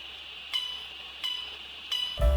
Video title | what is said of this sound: 【初階金工】新手第一課：從挑選鋸弓到不斷鋸絲的關鍵技巧 - 老歪金工創作室 YSJ Maker | You can listen to the sound of the saw wire ; the sound indicates that the tension is sufficient.